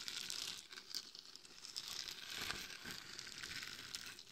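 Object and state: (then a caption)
Glitter-coated mannequin head being scratched. Long nails scratch the top, forehead and sides of a glitter-covered hollow mannequin head fitted with microphones. The result is a steady, bright, crinkly scratching texture with little low end and small rustling peaks throughout.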